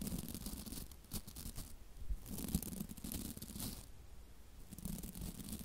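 A hand-sized scrub brush with stiff white plastic bristles on a block handle has its bristles flicked and scratched with long nails right beside the mic. The result is a dry, crackly stream of scratching and flicking with a low, close-mic rumble underneath, swelling in bright bursts and easing off in quieter stretches.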